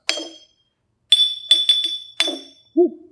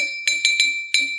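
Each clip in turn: First: Six bright glass taps ringing at a high clear pitch near 3.5 kHz, from an empty glass holding only air. Second: Four light taps on a glass draw a clear ringing tone near 2.3 kHz; the full glass gives the lowest pitch.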